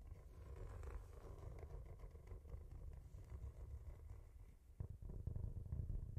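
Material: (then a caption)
Cork. Fingertips and nails scratch and tap the cork surface of a brown cork-covered notebook held beside the microphone, with an echo effect applied. A soft, low, rumbling scratch runs steadily throughout, and a few louder, sharper taps break in over the last second or so.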